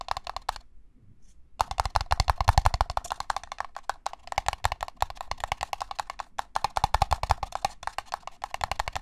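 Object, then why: Disposable paper cup. Fingertips tap fast on the side wall of a small, empty, hollow red-and-white disposable paper cup held in one hand with its open end forward. The result is a dense stream of short, dry, hollow taps with a low body and a papery midrange click. The taps pause for about a second before resuming just as quickly.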